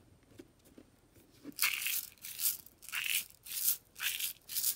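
A white plastic tub of aquarium salt with a lid, filled with coarse salt crystals, is held in a hand with long dark nails on its sides and is shaken and tilted. A few faint ticks come first, then the crystals rattle in repeated bright, hissy bursts with almost no low end, each swelling and falling away quickly.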